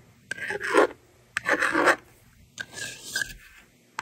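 A yellow plastic stylus, held in a hand with long red nails, scratches numbers onto the honeycomb screen of a small handheld plastic magnetic doodle board with a blue and pink frame, held in one hand. Three separate bursts of dry, raspy scratching are heard, separated by near silence and ending with a faint click. The board is then erased with its slider.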